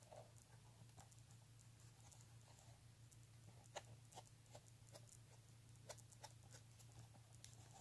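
Fingernails scratch the front of a pink embossed leather handbag and then its stitched leather edge. The result is a quiet, soft scratching patter dotted with sharp, bright ticks, over a steady low hum.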